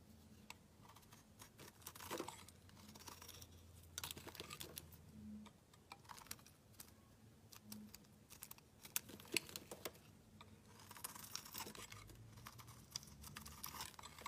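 A solid pale yellow-green bar of soap is shaved with a metal utility knife blade, giving quiet, dry scraping and crisp, crackly flicks. Bright, short bursts come in uneven clusters, with a low hum underneath.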